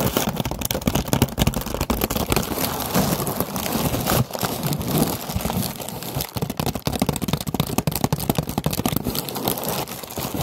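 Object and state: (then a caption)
Paper lantern. Long nails tap and scratch a hollow orange paper lantern on a wire frame. The result is a dense, steady stream of quick, dry taps and crinkly, papery scraping with a soft, low hollow thump underneath. Each tap dies away almost instantly.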